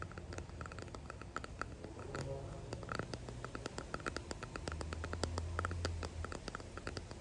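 A small clear resin hexagon box filled with pressed daisies and gold flakes is held in both hands and rapidly tapped and scratched with fingertips and long painted nails. The result is a dense stream of quick, bright clicks and light scratching over a soft, steady low hum.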